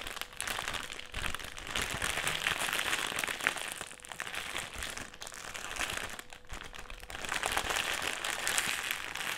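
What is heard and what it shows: A black, foil-lined metallised plastic crisp packet is held in the hands and crumpled, twisted and squeezed. It makes dense, bright crinkling and crackling that runs almost continuously, with brief lulls near 1, 5 and 6.5 seconds. A faint steady tone sits underneath.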